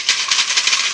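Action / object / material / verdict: shake / plastic bottle with dried beans inside / plastic, beans / none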